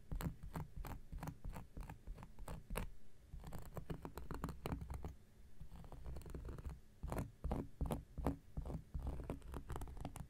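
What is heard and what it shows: A round, flat, solid cork coaster is scratched with an X-Acto knife blade in a quick series of short, dry scraping strokes. Each stroke gives a brief rasping burst that dies away almost at once, with most of the sound sitting low and dull rather than bright.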